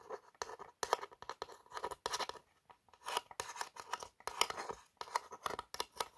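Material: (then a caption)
Cardboard. Long nails trace the embossed lettering on a tall, narrow printed cardboard Napoleon Boss perfume box. The result is quiet, dry scratching and quick tapping strokes with bright, papery texture and a midrange tone, broken by short pauses.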